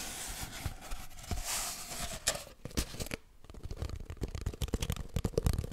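Fingers rub and scratch an empty, hollow cardboard kitchen roll tube. A steady, bright papery rubbing gives way to quicker scratches and soft, dull taps with a low, hollow thump, all at close range.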